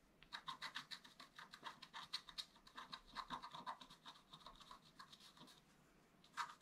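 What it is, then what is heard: Scratch art paper being scratched. A wooden stylus scratches dense, short strokes across a flat, black-coated scratch art paper card. The result is a quiet, rapid series of dry, bright scraping bursts centred around 1 kHz with a high hiss above. The strokes fade into a brief pause, then one last sharp scratch closes the clip.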